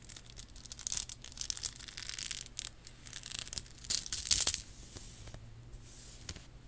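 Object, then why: Plastic bead and rhinestone necklace. Long acrylic nails scratch and tap across a chunky faux pearl and rhinestone bib necklace, a statement piece of many small faux pearls with rhinestone clusters worn on the chest. The result is quiet, bright, crackly scratching with quick clicking taps that stop dead, over a faint low hum.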